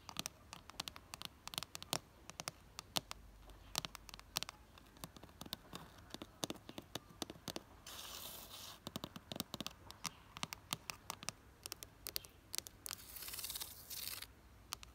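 Long nails scratch along the ribs of a red ribbed plastic flower planter box filled with soil and geraniums. Rapid, bright, dry clicks and ticks stop almost instantly, broken by two longer raspy scratching strokes, all at a soft, quiet level.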